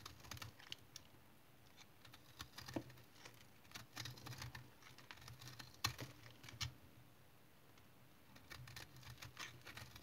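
A solid, crumbly dried household soap remnant, held in the hand, is cut and scraped with a utility knife blade, shaving off flaky crumbs. The result is a quiet run of dry, bright scratching clicks and short crackly scrapes over a faint low hum, with a calmer stretch near the end before the scraping picks up again.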